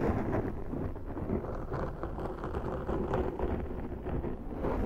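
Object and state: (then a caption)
Foam microphone windscreen being scratched. Long nails of both hands scratch a large round black foam windscreen on a Zoom microphone. The result is a continuous, muffled, low rumbling scrape with dense crackling texture and almost no bright content. The loudness stays fairly steady throughout.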